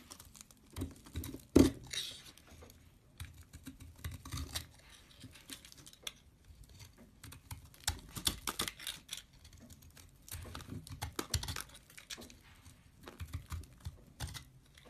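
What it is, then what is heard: Soap bar being cut. A metal blade slices shavings and scored pieces off a solid green soap bar held in the hand. The result is a quiet, irregular run of crisp scraping and soft crunchy clicks, with one sharper snap early on and denser clusters of cuts throughout.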